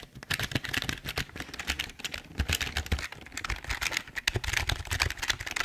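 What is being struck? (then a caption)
Plastic computer keyboard. Both hands type with their fingertips on a full-size, hollow black plastic Logitech keyboard. It makes a fast, steady run of short, bright plastic clicks with a dull low thump under the keystrokes. Each click dies away almost at once.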